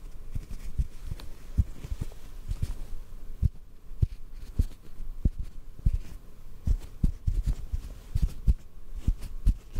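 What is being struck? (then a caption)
Cotton ball. A small white cotton ball held in the hands is tapped gently with the fingertips. This produces a series of soft, muffled, low thumps at an uneven pace, each dying away almost instantly.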